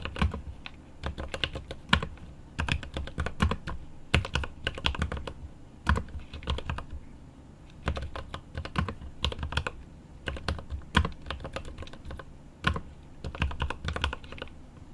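Both hands type rapidly with their fingertips on a 75% mechanical keyboard with plastic keycaps on an aluminum case. The result is a steady stream of short, dry key taps with a deep, low-heavy thock and a light bright click on top. The taps come in quick bursts separated by brief pauses.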